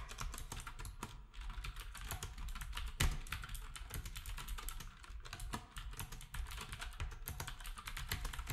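Fingertips of both hands type on a black, retro typewriter-style plastic keyboard with round plastic keycaps. The result is a steady, fast stream of bright, clicky keystrokes over a low thud, with one sharper, louder clack near the three-second mark.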